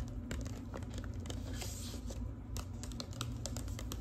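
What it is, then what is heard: Manila paper envelope. Long acrylic nails tap and scratch across the flat paper of a large, empty-looking manila clasp envelope. Quick, dry clicks and crinkly scrapes patter over a steady low hum, each tap dying away almost instantly.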